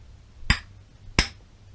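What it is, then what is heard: Worn crankshaft connecting-rod bearing. A BMW R35 steel motorcycle crankshaft is held by its connecting rod and struck by hand, giving two sharp knocks with a brief metallic ring against a low hum. The knock shows a worn connecting rod roller bearing and pin, so the crank needs a roughly $500 restoration or replacement.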